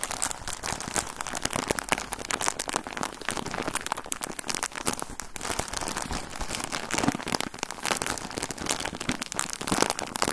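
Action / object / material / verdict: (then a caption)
scrape / plastic bag of cotton balls / plastic / none. Fingers crinkle and squeeze a full plastic bag of cotton balls with an orange label. The sound is a dense, continuous run of sharp crackles and rustles with bright, high-reaching texture and little low end.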